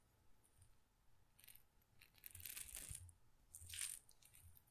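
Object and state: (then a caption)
Glass pepper grinder with peppercorns. A small glass pepper grinder jar, partly full of peppercorns, is tilted and shaken by hand so the peppercorns rattle inside the glass. Quiet bursts of bright, gritty clicking swell and fade over a faint low rumble, loudest in two clusters near the middle and toward the end.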